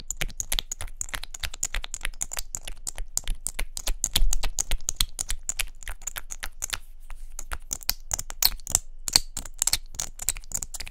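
A small hollow pink plastic mascara or lip-gloss tube with a gold cap is held in both hands and tapped quickly with long nails. The result is a dense stream of sharp, bright, dry clicks with almost no ring, slowing briefly near the seven-second mark before speeding up again.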